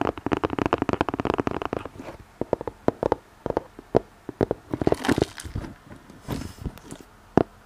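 Fingernails tap and scratch the surface of a flat red cardboard gift box with a white snowflake print, held upright behind the microphone. A dense flurry of quick, dull taps and scratches fills the first two seconds, then gives way to sparser, sharp single taps with short scratchy bursts in between. Each tap is dry and dies away almost instantly.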